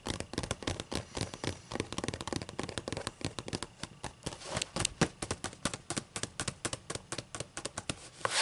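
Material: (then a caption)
Paper. Long matte green and black nails scratch and rub the white paper pages of a thick book lying open. A rapid, steady run of short, dry scratchy bursts with bright papery hiss and a soft low thump under each stroke, growing slightly louder and denser toward the end.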